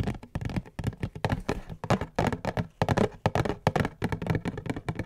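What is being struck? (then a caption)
Cardboard tissue box. A cube-shaped cardboard tissue box is held in both hands while long fingernails scratch and tap its top and sides. The result is a rapid, uneven run of dull, hollow taps with a low, boxy resonance, mixed with short scratchy rasps. Each sound dies away almost at once.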